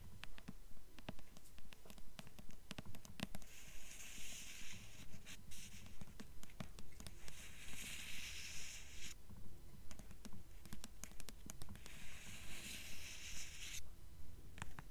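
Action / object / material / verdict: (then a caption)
tap / hardcover book with paper dust jacket / paper, cardboard / none. Long nails tap and scratch the paper dust jacket on the front cover of a purple hardcover book held at an angle. Quick, dry taps land in a steady, even rhythm, while bursts of bright, papery scratching come and go over a low, constant rumble.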